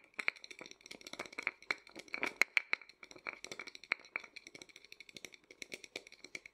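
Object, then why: Small lacquered wooden nesting doll. A small, hollow, painted and lacquered wooden matryoshka nesting doll is held upright while fingertips and nails rapidly tap and scratch its front. The result is a fast, uneven stream of dry, bright clicks and rattly scratches with almost no low end, each hit dying away instantly around a sharp tone near 2 kHz.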